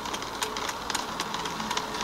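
An iron fence is knocked by hand, giving a series of quick, light taps with a faint metallic ring near 1 kHz. The strikes are soft and duller than iron striking iron.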